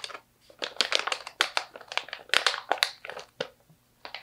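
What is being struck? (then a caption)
Plastic snack pouch with slivered almonds. Long nails tap and scratch a medium stand-up plastic pouch, partly full of slivered almonds, while hands squeeze it. The result is a string of sharp, bright crinkling and crackling bursts with brief quiet gaps between them.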